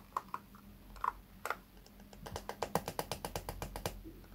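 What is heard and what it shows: Fingertips strum and scratch the pin bristles of a small pink plastic hairbrush with a cushion, held in one hand. A few scattered, dry clicks come first, then a quicker, steady run of crisp ticks, about twenty in all, over a faint low hum.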